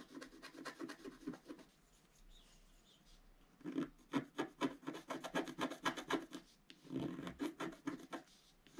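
A wooden stylus held in the fingertips scratches the coating off a flat, black-coated, roughly A4 scratch art card from a book, lying on a table. Quick, dry rasping strokes come in rapid bursts, separated by a quiet pause of about two seconds and a brief one later. Each stroke is short and crisp, with a mid-range scratchy tone.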